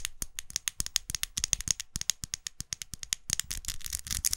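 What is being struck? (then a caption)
Plastic lipstick case tapped with fingernails. A closed, small dark red faceted plastic lipstick tube held in the hand is tapped and scratched with long acrylic nails. Around thirty quick, dry clicks come in a rapid irregular run with scratchy rustling between them, bright and high with almost no ring. The taps grow busier and more scraping toward the end.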